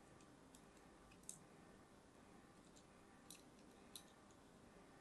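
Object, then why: Bar of solid soap cut with a thin metal blade. A thin metal blade cuts diagonal lines into a solid orange-and-white striped bar of soap. Soft, steady scratching runs throughout, broken by a few sharp, bright, crisp clicks that fade almost instantly over a quiet hiss.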